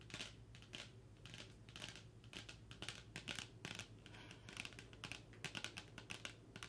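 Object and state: Cardboard eyeshadow palette.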